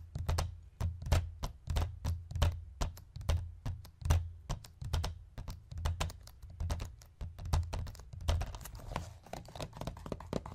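Fingertips and nails tap rapidly on a hollow white plastic DVD case resting on a wooden chest, first with both hands and then with one. The taps form an uneven stream of sharp, bright clicks over a deep, hollow thump, each dying away almost at once.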